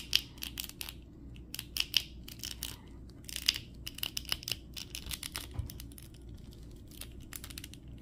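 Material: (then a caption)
Plastic. Fingertips bend and twist the leg and foot ratchet joints of a small red and gold 2023 Flash action figure, made of hollow molded plastic and held in both hands. The result is a quick, irregular run of sharp, bright, dry clicks and crunches that stop instantly, over a faint low background hum.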